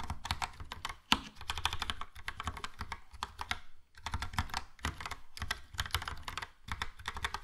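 Fingertips type steadily on a Logitech POP Keys plastic mechanical keyboard with a yellow plastic case and round plastic keycaps. It makes a fast, uneven stream of short clacks, each with a low thock and a bright click that stop almost at once. The typing pauses briefly near 1, 4 and 6.6 seconds.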